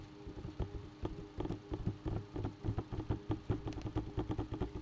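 A bucket is tapped in a quick, steady series of light taps. Each tap is a short, dull, low thud with a faint tone and almost no ring, and the pace picks up slightly toward the end.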